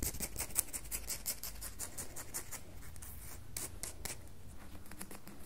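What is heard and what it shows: A solid red bar of soap is rubbed and scraped with long fingernails, producing quick, dry, bright scratching strokes in a steady, closely spaced pattern. The quiet scratches sit over a soft low rumble, and each stroke stops dead with no ring.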